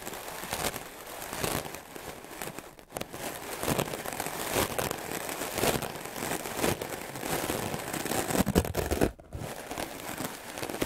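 A white, solid, rectangular melamine foam sponge held by the fingertips is brushed fast and aggressively with a wooden-backed clothes brush with black bristles. The result is a continuous, dense scratchy crackling and rasping, broken by two brief pauses near 3 and 9 seconds.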